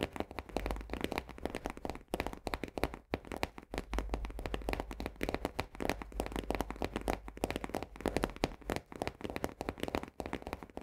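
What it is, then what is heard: Paperboard canister. An upside-down Orzo Bimbo barley canister made of paperboard is tapped rapidly on its base rim with the long nails of both hands. The result is a dense, continuous stream of quick, dry taps with a hollow low thump beneath them and little high brightness. Each tap dies away almost instantly, and there are brief pauses in the flow.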